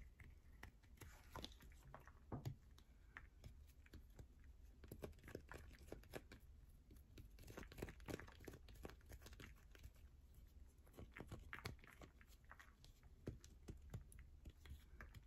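A solid yellow bar of soap with a hole dug in its middle is scratched and dug into by long nails along its surface and inside the hole. The result is a quiet, dense run of fast, crisp scratching and tapping clicks over a steady low hum, with each short stroke dying away almost at once.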